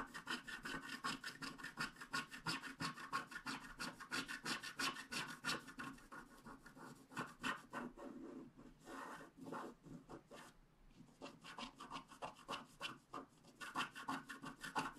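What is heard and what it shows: A wooden stylus scrapes the coating off a thin black wax-coated paper scratch art card with a unicorn design, which lies flat on a table held down by one hand. Quick, fairly steady rasping strokes come about three per second, bright and papery with almost no low end. The scraping eases and grows quieter in the middle before picking back up.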